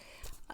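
A small red heart-shaped box filled with strips of paper is shaken. Its contents give a brief, soft rustling shuffle with a low thump and a quick light clatter near the end.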